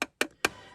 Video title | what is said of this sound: Doctor Who: First Doctor & TARDIS set (B&M Exclusive) from An Unearthly Child - Character Options | it's plastic and it sounds like plastic